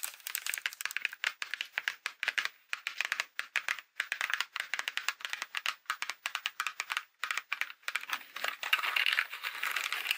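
A Halloween haunted-house paper greeting card lying flat is opened and closed, then tapped and scratched with long glitter acrylic nails. The result is a steady stream of quick, crisp, bright clicks and papery scratches with almost no low end, broken by brief pauses. It builds into a denser, louder scratching flurry near the end.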